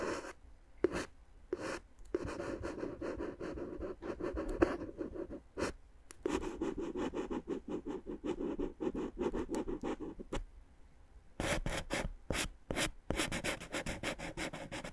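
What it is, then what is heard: Plastic air-column cushion wrap being scratched. A wooden stick scratches and rubs along the tubes of clear, inflated plastic air-column cushion wrap. The hollow, air-filled packaging gives dense, papery scratching with a mid-range body. Short gaps are broken by sharp, bright ticks.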